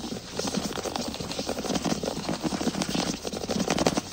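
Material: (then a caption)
Wood. Fingertips rub, scratch and tap quickly across the boards of a flat, solid wood (possibly laminate) floor. The result is a dense, continuous patter of short, dry taps and scratchy rasps with a woody low-mid body and bright crackly edges, each tick dying away almost instantly.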